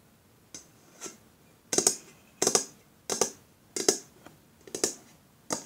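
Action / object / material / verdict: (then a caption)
tap / aluminium aerosol spray can / aluminium / none. Long fingernails tap and scratch a pink aluminium deodorant aerosol can, a hollow metal cylinder, first as it lies on a table and then while it is held up. A series of bright, sharp metallic clicks, some in quick doubled bursts, come at an uneven pace over a faint background. Each click carries a brief hollow ring and fades almost at once.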